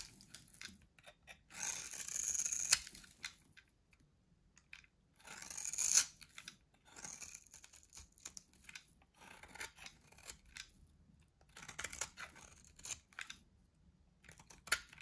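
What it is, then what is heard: Dry soap bar. A solid, dry white soap bar held in the hand is shaved and carved with a metal box-cutter blade. Two long, bright, hissing scrapes are followed by many short, crisp, crunchy cuts at an uneven pace. The sound is quiet and almost entirely high-pitched, with very little low end.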